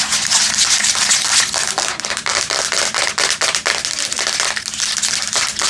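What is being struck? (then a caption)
Tablet with metal back and glass screen. Long nails scratch and tap the metal back and the screen of a Samsung tablet held in both hands. The result is a dense, bright stream of crisp scratches broken by quick, sharp clicks that die away almost at once, with next to no low end.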